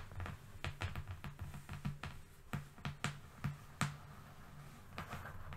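Fingernails of both hands tap and lightly scratch a long, flat, thin but solid brown cardboard strip lying on a fluffy rug. The result is a series of short, dull taps with a low, hollow body and bright clicky edges, separated by soft scratchy rustling.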